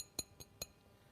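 A 7-inch hand-painted ceramic plate with a bright surface, fired at 800 degrees, is tapped three times. Each tap gives a short, crisp, bright ring. The crisp ring marks it as a well-fired, good-quality plate.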